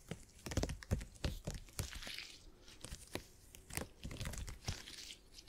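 Fingertips pinch, squeeze and scratch a purple, stretchy gel grid cushion made of hyper-elastic polymer. Irregular soft thumps and sticky crackling crunches follow one another quickly, with short bright crinkles between them. Each sound dies away almost at once.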